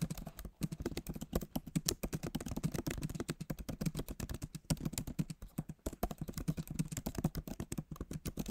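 Fingertips of both hands type steadily on the backlit keyboard of a MacBook Pro, its plastic keys set in a solid aluminum body. The result is a dense run of short, dry, low clicks and taps with almost no ring, coming in quick bursts with a few brief pauses.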